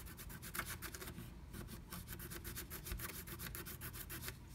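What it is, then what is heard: Scratch art paper. A pointed wooden stick scratches the coating off flat black scratch art paper inside a diamond-shaped stencil cut-out. Quick, steady back-and-forth strokes make a dry, bright rasping scrape over a soft low rumble, with each stroke ending quickly.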